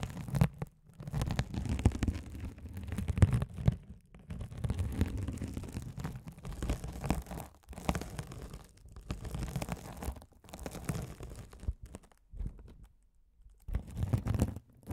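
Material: Plastic mesh.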